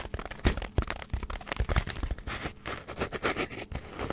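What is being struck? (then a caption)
Polystyrene foam block. A hand-sized, solid block of white polystyrene foam is scratched with long nails close to the mic. It gives a dense run of crinkly, crunchy scrapes and sharp crackles with bright hiss over low, muffled thumps. Each scrape stops almost at once, with no ring after it.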